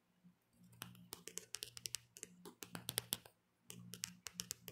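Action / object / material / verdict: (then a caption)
tap / smartphone in a hard plastic case / plastic / none. Long painted nails tap and scratch the back of a handheld smartphone in a black plastic hard case. About 25 sharp, bright clicks ring out in quick bursts, with a faint low scratching hum between them. The clicks stop completely after each one, and there are short pauses near 2.5 seconds and between 3.3 and 3.7 seconds.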